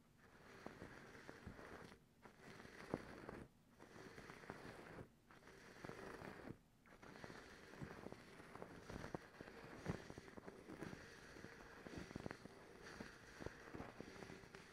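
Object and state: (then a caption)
Cotton terry towel. Long acrylic nails lightly scratch a soft white cotton terry towel. A steady, soft scratchy rustle of fabric fills the clip, mostly low and midrange with little brightness. It stops briefly for a few short pauses before resuming.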